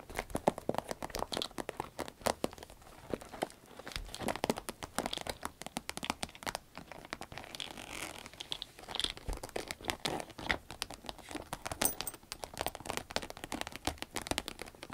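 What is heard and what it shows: Long red nails tap and scratch across the top and along the zipper of a small, cylindrical, shiny green vinyl zip pencil case that is hollow and soft. Dense, rapid, crisp clicks and crinkly scratching run throughout the clip at a fairly even, quiet level. Each tap dies away almost instantly, and the texture is bright.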